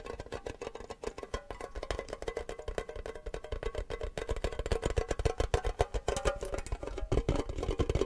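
A small, hollow, empty, triangular printed metal tin shaped like a cake slice is held in the hands and tapped fast with fingernails and fingertips. It gives a rapid, uneven stream of short, dry clicks and knocks that stop almost instantly, with a hollow tinny ring in the midrange over a soft low thump. The tapping grows slightly louder toward the end.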